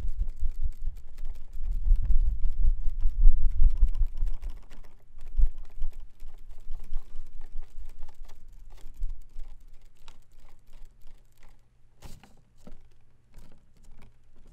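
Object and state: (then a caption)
Plastic folding fan. A hand waves a folding fan with white plastic ribs and a pleated printed fabric leaf, snapping it open and closed. Heavy low whooshes of air and dense rustling clicks fill the first few seconds. These thin out into softer flutters and sparse, sharp plastic clacks.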